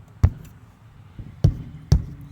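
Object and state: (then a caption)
Solid bonded camper wall. Knuckle knocks on an undamaged area of a fiberglass camper side wall produce four short, dull, low thuds, three strong and one faint, with almost no ring. The wall sounds solid and well bonded, unlike the hollow-sounding damaged section of the same wall.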